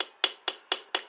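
Four quick taps on the unfilled side of a molded composite LUNA e-bike frame, a section not filled with resin. Each tap gives a bright, dry, high-pitched click with almost no low end and a very short ring. The section sounds hollow, unlike the resin-filled side, which sounds solid.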